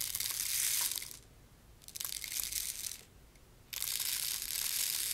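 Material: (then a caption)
Plastic. A small purple and green see-through plastic rain maker tube filled with loose beads is held in one hand and tilted, sending the beads trickling through it. Three bursts of bright, hissy rattling are heard, separated by short quiet gaps.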